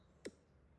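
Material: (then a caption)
Spruce. A single tap on a braced spruce guitar top, done as tap tuning to judge how the top sounds. It gives a short, dull knock centered around 390 Hz that dies away almost at once.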